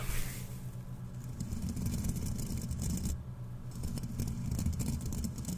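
Two fist-sized, airy, hollow-textured steel wool scrubber pads, one held in each hand, are squeezed and rubbed with the fingertips close to the microphone. The result is a steady, dense crunching and scratching texture with a strong low rumble and a faint bright fizz, which dips briefly just past the three-second mark before picking back up.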